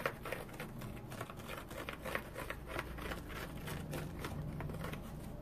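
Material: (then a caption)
Cellulose. A round, dry cellulose sponge striped in blue, yellow, green and orange, with a rope loop, is scratched with fingernails. The result is a quiet, uneven stream of short, dry scratching and crackling strokes over a steady low background rumble.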